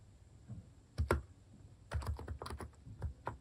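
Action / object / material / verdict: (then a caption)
tap / plastic keycaps on a capacitive keyboard / plastic / none. Fingertips type on a Hanmumu capacitive (topre-style) keyboard with plastic cat-shaped keycaps, making about ten soft, deep keystrokes in uneven bursts. Each press gives a short, muffled thock with a low body and very little ring.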